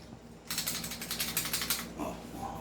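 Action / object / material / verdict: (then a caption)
shake / airsoft pistol outer barrel, metal / metal / loose. The metal outer barrel of a non-upgraded WE Glock airsoft pistol is shaken, producing a fast, bright metallic rattle of about ten clicks from 0.5 to 1.8 seconds. The rattle shows the barrel is loose, unlike the barrel on an upgraded pistol, and it fades into quieter handling noise.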